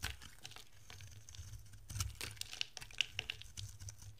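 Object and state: Dry bar soap being shaved.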